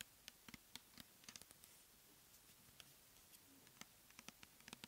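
Long fingernails tap and scratch the label and body of a clear plastic pump bottle filled with cleansing gel, held in the hands. About fifteen quiet, sharp, bright clicks stand out over a soft, steady scratching hiss. Each tap stops almost instantly, with no ring.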